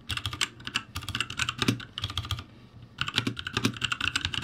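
Fingertips type on a backlit ROCCAT G65 mechanical keyboard with plastic keycaps, giving a quick run of bright, clacky keystrokes over a low thock. The typing comes in two bursts with a short pause in between, each click short and dry.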